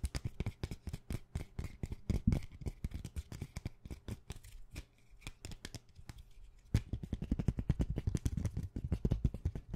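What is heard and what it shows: A thin clear plastic plate holding rainbow plastic sticky bookmarks is held in the hand and tapped very quickly with fingertips and nails. The result is a dense stream of short, dry plastic clicks and thumps with a low, hollow body. The tapping eases briefly in the middle, then returns louder and busier.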